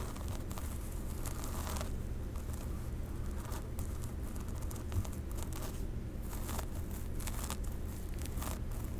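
Long pink nails scratch and part the dark synthetic hair of a wig near the crown of a mannequin head. Soft, dry crinkling and rustling bursts flicker up into the highs over a steady low rumble that dominates the level throughout.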